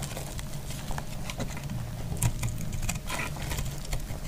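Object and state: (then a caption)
Dry soap bar. A metal blade repeatedly scrapes and cuts crumbly shavings from a solid, hand-sized pink dry soap bar held in the hand. Short, dry scraping crackles with bright edges pop out over a steady low rumble, with slightly louder strokes near the middle of the clip.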